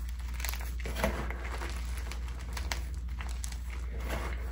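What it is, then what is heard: Gym chalk being crushed. Both hands squeeze and crush crumbled pink and purple gym chalk blocks (magnesium carbonate) in a clear bowl, pressing with fingertips and palms as dry powder and small solid pieces break down. A continuous soft, crinkly crunching with brief brighter crackles runs over a steady low hum.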